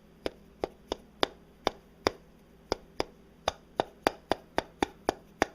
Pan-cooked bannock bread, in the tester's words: you hear the hollow sound that's how you know it's done